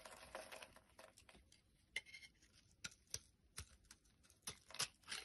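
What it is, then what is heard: Bar soap being cut and scraped. A blade cuts and scrapes a solid pink bar soap held in the hand, breaking off brittle chunks. Quiet, bright, crisp scraping and crunching is punctuated by sharp, dry snaps at an irregular pace, with almost no low end and no ring after each snap.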